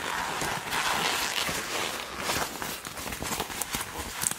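Both hands squeeze and twist the sleeve cuff of a black leather (likely faux) jacket, a flexible hollow garment. The result is a steady, bright rustling creak of leather with sharp crackles and squeaks, growing more clicky toward the end.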